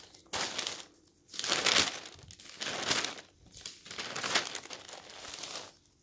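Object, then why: Newsprint newspaper pages. Pages of a thin newsprint newspaper are flipped quickly by hand, fluttering in a series of bright, crinkly rustling bursts with short quiet gaps between them. The sound is mostly high and papery with almost no low end.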